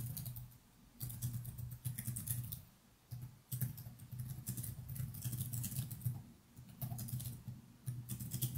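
Fingertips from both hands type continuously on a laptop's plastic chiclet keyboard resting on a desk, producing quick, bright key clicks over a steady low hum. The typing comes in bursts separated by brief quieter pauses.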